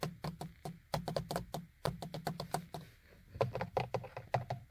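Fingers and nails knock and tap on the small, hollow beige plastic vanity mirror frame and cover of a car sun visor. A quick series of short, dry, hollow knocks with a low body and clicky tops fades almost at once; after a brief pause near three seconds the tapping resumes, slightly louder.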